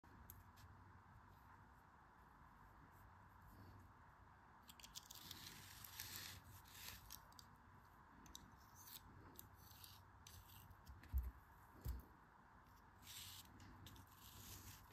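A long-nailed hand holds a disc of solid pink kinetic sand pressed flat inside a plastic cookie cutter while a metal craft knife blade scrapes and cuts through it. Soft, gritty scraping and crunchy crumbling come in irregular bursts, with a brighter hissing stretch in the middle, over a steady low hum. Two louder dull knocks stand out near the end.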